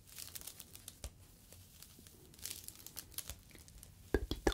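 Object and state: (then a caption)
Foam fruit net being crinkled. A small, soft, hollow yellow expanded polyethylene foam fruit protective net, a mesh sleeve, is squeezed and crinkled with fingertips close to the microphone. Quiet, irregular crackles and crinkles fill the clip with short bright snaps, and a few sharper, louder crunches arrive near the end.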